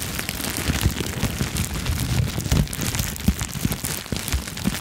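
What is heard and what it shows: A clear plastic bubble wrap sheet, held near the microphone, is crinkled and popped with fingertips and long nails. A steady, dense crackle of bright, crisp clicks runs throughout, over heavy low thumps. Louder pops stand out sharply every so often.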